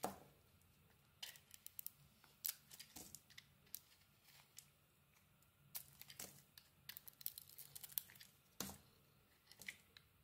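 A utility knife blade shaves a solid red and cream bar of soap, and chunks break off. The result is a quiet, irregular run of short, bright scraping and crackling bursts with soft crumbly tails and no ringing, separated by near-silent gaps.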